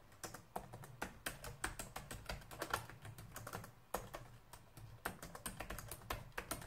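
Two hands type on a black plastic laptop keyboard with fingertips and nails, producing a steady run of quick, dry, clicky taps that die away almost instantly. Brief pauses near the one-second mark and just before four seconds break the rhythm, with a faint low hum underneath throughout.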